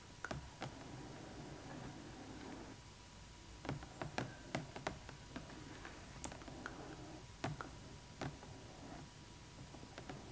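Long acrylic nails tap close up on the clear plastic window over a Rainbow High Winter Wonderland Skyler Bradshaw doll inside its large, hollow cardboard box. About sixteen sharp, short clicks come at an uneven pace over a quiet, low background hum. Each tap dies away almost at once.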